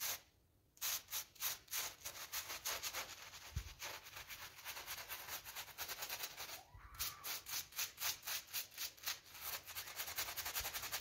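A gloved hand scrubs the flower area of a pink PVC coil door mat with a small blue bristle brush in short, quick strokes. The result is a steady run of bright, hissy scratching bursts with a short pause near the start and another partway through.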